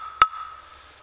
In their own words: listen it's got a nice hollow sound that's nice dry wood and that'll be great for my stove